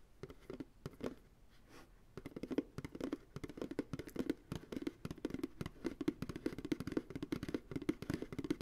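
Fingertips tap rhythmically on the bottom of an empty white plastic ice cream pail resting on a lap. The quick, dry taps give a hollow, low-mid knock around 300 Hz that dies away almost instantly. The tapping starts sparse and quiet, then settles into a steady, denser patter.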